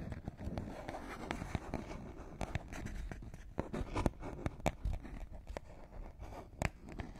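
A small, empty, medicine-style cardboard box is held in both hands above the microphones and tapped and scratched with long manicured nails. The result is a steady run of soft, dull taps and sharp clicks over a low, papery scratching rustle. Each tap dies away almost instantly.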